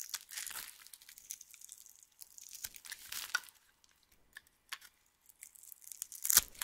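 A metal knife blade scrapes and cuts slices off a small, solid, rectangular bar of yellow soap with white stripes, dry and crumbly on the surface, held in one hand. The blade makes quiet, bright, dry scraping and crunching sounds in irregular strokes, ending in a sharper, louder crunch. Flakes fall onto a pile of soap shavings.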